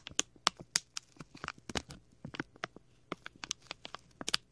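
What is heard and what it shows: A small, clear plastic packet with a label is rubbed and crinkled with fingers and a thumbnail right next to the left ear of a microphone. About eighteen sharp, bright crackles and crinkles come in quick, irregular bursts, each snapping off almost instantly. The sound has very little low end.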